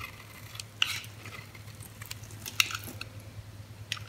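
A metal utility blade scrapes and cuts slivers from the surface of a solid, hand-sized green oval bar of soap held in the palm. Soft, bright scratching runs throughout, broken by a few sharper, crisp cutting snaps, over a faint low steady hum.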